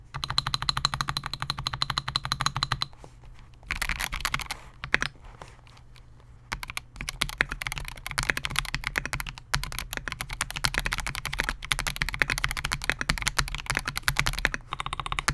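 Both hands type continuously on a Melgeek MOJO68, a compact 68-key mechanical keyboard with Gateron G Pro Silver switches, a clear polycarbonate case and SA-profile plastic keycaps, resting on a desk mat. Rapid, bright, short clacky keystrokes stream in dense runs, with a low thock under each press. The typing briefly thins out around the third and sixth seconds before resuming steadily to the end.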